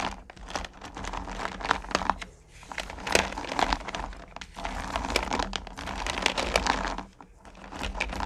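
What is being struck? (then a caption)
Small sugar candies in a plastic pail. One hand, then both, rummage through and scoop small, solid pumpkin candy corn in a purple plastic pail. The result is a dense, bright, continuous rattle of tiny clicking and crinkling, with brief quieter lulls between scoops.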